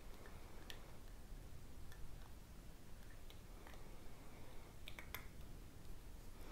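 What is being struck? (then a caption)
Small glass perfume bottle. Long painted fingernails tap a small clear glass perfume bottle with a green label and a metal spray nozzle, apparently filled with liquid and held in both hands, its cap seen only at the start. Sharp, bright tick-like clicks come irregularly over a steady low rumble, each dying away almost instantly.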